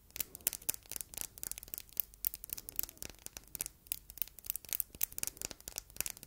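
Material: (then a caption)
Glass. Long red nails tap and scratch across the front of a palm-sized solid red glass heart paperweight with engraving and rhinestones. The result is a quiet, rapid stream of crisp, bright clicks mixed with scratchy rubbing, with very little low end and no ringing after each tap.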